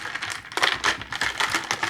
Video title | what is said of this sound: วิธีชงไมโล สูตรรถโรงเรียน - อาจารย์เกษม รีวิว | ตอนนี้เขย่าก็จะเสียงดังเลย